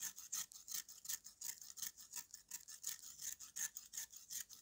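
A yellow-handled steel knife scrapes rapidly across the gritty face of a flat, hand-sized broken piece of solid dried red mud, held upright in one hand, shedding powder. The sound is a quick run of bright, dry rasping strokes in a steady back-and-forth rhythm, each short and hissy with almost no low end and no ring.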